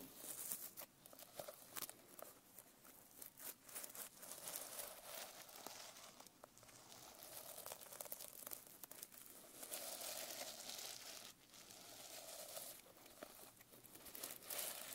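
Long painted nails scratch and brush across the reversible plastic sequin fabric cover of a closed A5-size notebook held on the lap. The sequins give a bright, crinkly rustle with quick ticking flicks and swishing sweeps that swell and fade, mostly high with little low end.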